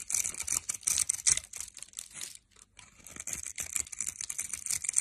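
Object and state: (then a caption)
Bar of soap cut with a knife. A metal knife blade cuts through the grid-scored edge of a solid orange soap bar held in the fingers, crumbling it into small cubes. Rapid, irregular crisp crunching and scraping bursts sound bright and high, with almost no low end. There is a brief quiet pause midway before the cutting resumes.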